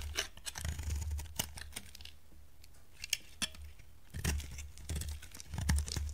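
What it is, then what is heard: Dry bar soap being shaved. A solid, dry green bar of soap held in a hand with long dark nails is shaved with a metal utility knife blade. Crisp, bright scraping and crackling strokes come in bursts over a low rumble, with a quieter stretch in the middle before the shaving picks up again.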